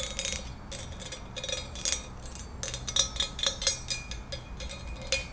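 A small, hollow, empty ribbed pink glass cup or candle holder is held in the hands and tapped with long nails. The result is a quick, irregular run of bright, glassy clicks and ticks with very short ring.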